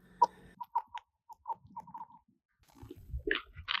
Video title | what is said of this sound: قبل از اینکه دیر بشه! قوانین طلایی ایمنی روی یخ + تجربه واقعی Ice Fishing Safety | اگه بهش ضربه بزنین با سنگ یا فلز یا یه چیزی پژواک خیلی تیز و صدای محکمی داره صدای انعکاسشو قشنگ می‌شنوین